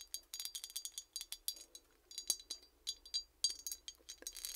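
Long painted nails tap and scratch across the raised metal relief on the back of a solid, hand-sized, gold-tone embossed metal hand mirror with inset jewels, held flat. Quick, bright clicks and short scratchy swipes come in irregular bursts, each dying away almost instantly with no low-end body.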